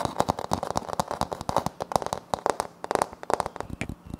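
Both hands scrape and scratch a flat, solid wood-look laminate floor panel with a light wood-grain print, using short nails. The result is a rapid, irregular run of crisp, dry clicks and scratchy crackles centered in the mids around 750 Hz, each stopping almost instantly with no ring.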